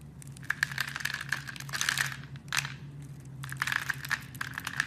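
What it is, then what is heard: Bar of soap being carved. A solid blue soap bar, scored into a fine grid and held in hands with red nails, has tiny cubes sliced off it with a blade. Quick runs of dry, crisp crunching and bright clicky snaps pile up in bursts, with a brief pause near the middle, over a faint steady low hum.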